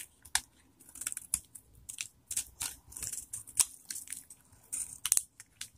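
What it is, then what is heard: Dry bar soap. A metal knife blade cuts and scrapes chunks and flakes off a palm-sized solid bar of dried vintage soap stamped "Fiesta" held in one hand. The result is a series of short, dry, crisp crunches and scratchy scrapes, bright and high with almost no low end and no ringing after each cut.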